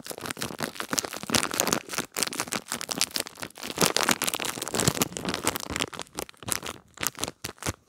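A small clear plastic packaging bag with a cardboard header, holding a gel bead pad, is crinkled and rubbed with long nails. The result is a dense, continuous run of bright crinkling and crackling with sharp, quickly fading snaps and very little low end, thinning into sparser crackles near the end.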